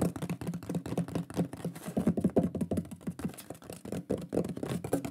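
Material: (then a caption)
Wood. A shield-shaped wooden pyrography plaque with a lion drawing is held up and fast-tapped with the fingertips and fingernails of both hands. The result is a rapid, continuous patter of short, dry taps: hollow, woody knocks around 200 Hz with brighter nail clicks on top, each dying away almost instantly.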